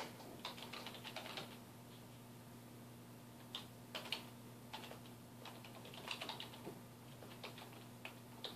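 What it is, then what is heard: Plastic computer keyboard being typed on. Fingertips of both hands type on a black plastic computer keyboard resting on a wooden desk, producing quiet, bright key taps in irregular bursts and short runs with brief pauses between them. Each tap is crisp and dies away almost instantly over a faint, steady low hum.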